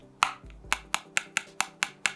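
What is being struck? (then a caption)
Metal payment card. An Amex Platinum metal credit card is tapped eight times, making short, bright clicks with almost no ring. It sounds about the same as a Revolut metal card.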